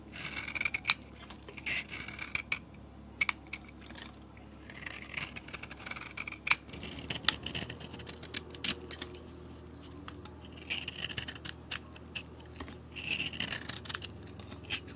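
A metal box-cutter blade shaves curls from a solid soap bar with a yellow coating and tan interior. Quiet, bright scraping strokes are broken by many sharp, dry clicks and ticks that stop instantly with almost no ring.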